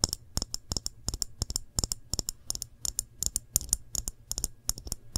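A full glass jam jar is turned in the hands while long nails tap and scratch its glass body and bottom. The result is a rapid, uneven run of sharp, bright clicks that die away almost instantly, with faint scratching between them over a low, steady hum.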